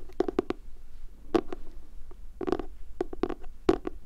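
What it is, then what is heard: Spiral notebook cardboard cover. Fingertips with medium nails tap and scratch the glossy pastel cardboard cover of a medium-sized spiral-bound notebook printed with unicorns, with a metal wire binding, held upright in both hands. Short, dry taps come in irregular clusters, each with a dull low-mid thump and a brief bright click that dies away almost at once, over a soft scratchy rustle.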